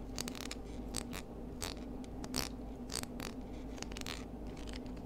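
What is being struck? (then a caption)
Spiny seashell. Long nails scratch and pick at the bumpy surface of a small pinkish spiny, knobbly seashell held low near a table. Dry, quiet scratching and brief bright clicks repeat over a steady low hum.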